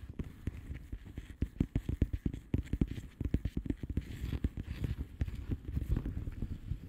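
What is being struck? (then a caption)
Plastic bubble wrap envelope. Both hands tap long nails across the bubbles of a flat blue plastic bubble wrap envelope. The result is a steady, uneven run of quick, soft, dull taps. They are low and muffled, with very little brightness and almost no ring.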